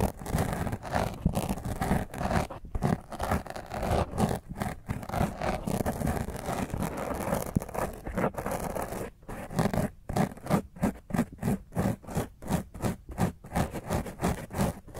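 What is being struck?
Foam microphone windscreen.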